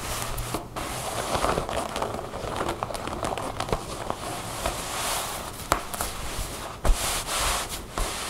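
Long painted fingernails on both hands scratch and tap across a folded pair of light-blue ripped cotton denim jeans lying flat on a wooden table, the soft, layered fabric giving a dull, non-hollow response. The sound is a steady, crackly rustle of scratching with a low rumble underneath, broken by short, sharp taps that cut off almost instantly.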